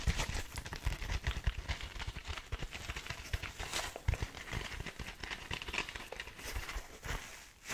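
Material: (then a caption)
Foam, synthetic fibre. Fingertips scratch and rub the dark, rough scouring pad of a small kitchen sponge with a yellow foam layer, held in the hands. The result is a steady, dense crinkling and scratching texture with many quick, dry crackles, soft low thumps from handling, and a bright, hissy edge throughout.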